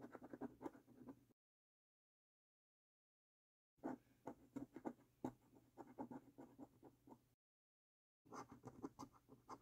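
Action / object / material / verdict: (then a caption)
scrape / paper scratch card scratched with a coin / paper / none. The edge of a metal coin scratches the latex coating off a thin, flat paper lottery scratch card. The card lies on a dark wooden table, held by fingertips, and turns out to be a winning card. Three bursts of quick, dry, rasping strokes are heard, separated by two short silences.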